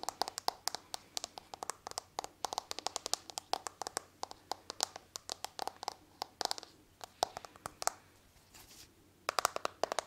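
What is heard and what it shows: Long nails tap rapidly and irregularly on the back of a smartphone in a hard patterned plastic case held close to the microphone. The result is a dense stream of sharp, dry, bright clicks with no low end and no ring, broken by a short lull near the eight-second mark before the tapping resumes.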